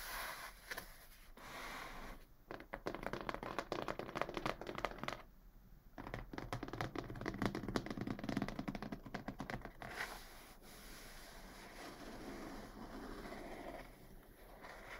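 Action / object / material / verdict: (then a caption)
scrape / corrugated cardboard box / cardboard / none. Long fingernails tap and scratch the top of a medium, closed brown corrugated cardboard box sealed with a strip of tape. Quick, uneven bursts of dry taps and scratchy rasps come in clusters with short quiet gaps between them. Softer rubbing scrapes continue toward the end.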